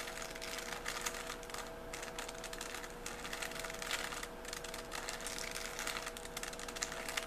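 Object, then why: Plastic puzzle cube. A small, solid 3x3 plastic Rubik's cube with colored stickers is held in both hands while fingertips turn its layers. Rapid, continuous plastic clicking and sliding fill the clip, bright and crisp with little low end. A faint steady hum sits underneath.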